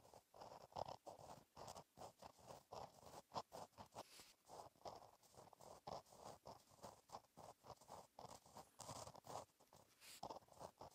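A gel pen tip scratches across a flat, black lined paper notebook page while writing cursive. It makes quiet, dry, scratchy strokes with a mid-range rasp and a faint bright hiss, separated by brief pauses between letters and words.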